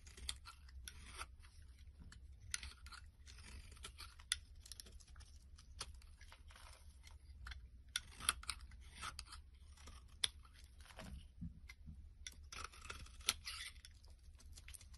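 A solid, rectangular orange-and-white striped bar of soap, held in the hand, is scraped with a metal blade, shaving off crumbly pieces. Quiet, bright, crisp scraping and crunching strokes repeat throughout, with occasional sharper clicks. A steady low hum sits underneath.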